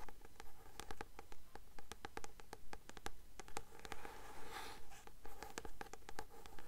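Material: Paper.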